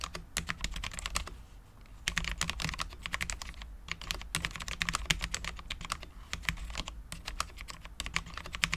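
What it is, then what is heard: Low-profile mechanical keyboard, ABS keycaps on steel plate. Both hands type continuously with their fingertips on a full-size, low-profile Cherry MX10.0 mechanical keyboard with Cherry LP switches, dark ABS keycaps and a steel plate. The result is a dense stream of short, bright clicks and clacks that die away almost instantly, with a faint low hum underneath.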